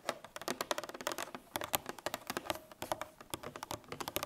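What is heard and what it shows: A full 1 L coated paperboard milk carton is handled and laid on its side, then tapped with long nails. About 27 quick, dry clicking taps come in uneven bursts, each with a hollow tone near 800 Hz and a bright edge. Every tap dies away almost at once.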